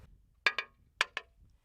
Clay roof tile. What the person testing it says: If the tiles are not good, they have a dull sound. You hear? That's a good sound.